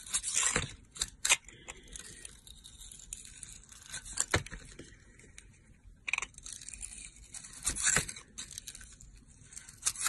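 A solid rectangular soap bar with glittery blue and pink stripes, held in the hand, is shaved with a yellow box cutter blade. Bright, crisp scraping strokes rasp through quieter stretches of fine shaving texture, with several sharper, louder cuts standing out.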